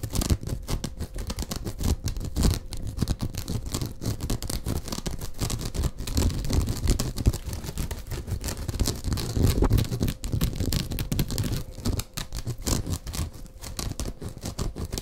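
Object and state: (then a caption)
Rolled woven straw mat. Fingers scratch and rub the woven texture of a hollow, rolled woven straw mat tube held against the shoulder close to the microphone. The result is a continuous, dense, muffled scratching and rustling with a heavy low end and many quick, dry scrapes, swelling slightly in the middle. A faint steady tone runs underneath.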